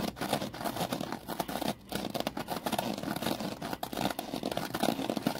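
A foam kitchen sponge is held from above and compressed and scratched with the fingers, producing a dense, continuous crackling, squishing scrape focused in the mid range with bright fizzy detail. The rustling runs steadily with small fluctuations and a brief lull near the two-second mark before resuming.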